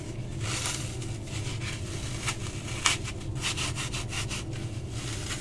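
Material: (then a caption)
Floral foam. A small, hand-sized piece of dry-looking, porous, solid green floral foam is held in both hands and crushed and rubbed with the fingertips so it crumbles. Bright, gritty crackles and rubbing scratches come in bursts over a steady low rumble. A single sharper crunch stands out near the middle.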